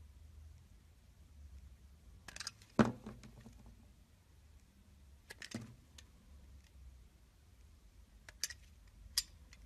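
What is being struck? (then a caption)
Soap bar scraped with a metal blade. A metal utility-knife blade shaves and scrapes the edge of a solid blue-and-white striped bar of soap held in the hand. Short, crisp scraping bursts with sharp bright clicks come in three clusters over a quiet, low background hum, with the loudest snap near the start.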